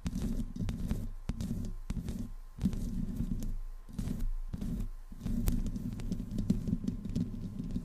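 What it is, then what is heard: Metal microphone grille scratched. Long nails of both hands scratch the hollow metal mesh grille of a black desktop microphone. The sound is a dense, low, muffled rumble of rubbing and thumping, carried mostly in the bass, coming in slow sweeping bursts separated by short pauses.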